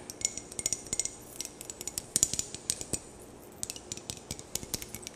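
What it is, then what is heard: Glass perfume bottle. A rectangular glass perfume bottle with a clear faceted cap, held in both hands in front of a microphone, is tapped and scratched with long painted nails, and rings on the fingers may touch the glass. Around thirty quick, bright clicks and clinks sound over a soft scratchy hiss, each dying away almost at once with no lingering ring.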